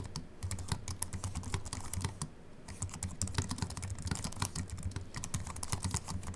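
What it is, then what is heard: Aluminium and plastic keyboard being typed on. Fingertips of both hands type quickly on a compact Apple keyboard with a silver aluminium body and white plastic keys, resting on a wooden desk. The rapid run of short, crisp key clicks carries a soft low thump under each press and bright, dry taps with almost no ring, easing briefly just before the third second before the typing picks up again.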